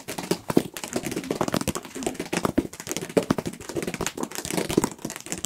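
A solid paperback book with a printed paper cover, held close to the microphones, is tapped and scratched on the cover with fingertips and nails. A fast, continuous run of short, dry papery taps mixed with scratching is heard, each tap dying away almost at once.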